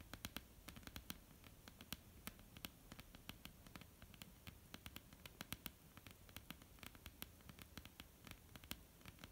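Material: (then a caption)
Wood. Long polished nails of both hands tap and scratch a flat, dark, solid wooden tabletop. Rapid, irregular clicks with very short decay fall over a soft, continuous scratching bed. The clicks are bright and sharp at the top, with a dull low thud beneath.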